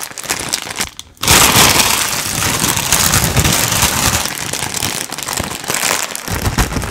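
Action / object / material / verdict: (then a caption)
shake / foil-lined plastic chip bag / foil plastic / none. A metallic gold foil-lined plastic potato chip bag, apparently holding some contents, is held above the head in both hands and crumpled, squeezed and shaken with the fingers. Softer crinkling and a brief near-silent pause in the first second give way to loud, dense, continuous crackling and rustling that stays bright and harsh to the end.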